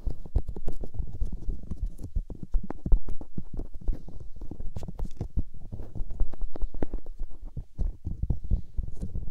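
Fingers and thumbs rub and press on white silicone microphone ears. The result is a dense, continuous run of muffled, low thuds and squishy rubbing, with short dry pops and no ring, sitting almost entirely in the deep low range.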